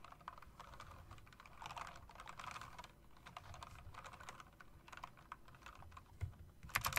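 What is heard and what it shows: Long-nailed fingers tap and type on a typewriter-style mechanical keyboard with round plastic keycaps and metal rims. A quiet, steady stream of short, dry clicks and clacks follows, with bright tips over a soft low thud. A few sharper, louder clacks come near the end.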